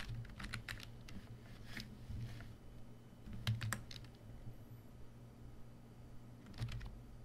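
A full-size black plastic membrane computer keyboard, a Coshi KB1388, sits on a white desk and is typed on continuously with the fingertips of both hands. Soft, short clacks arrive in irregular bursts, with a few sharper keystrokes standing out, over a steady low hum. The typing stays quiet and muted throughout.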